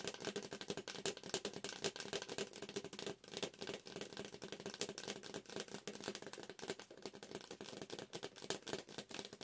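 A yellow McCafé paper drink cup with a dark plastic lid and straw, hollow, is held up close and tapped fast on its side with long acrylic nails. The result is a dense, rapid stream of crisp, clicky taps with a light hollow tone around 390 Hz and no lingering ring.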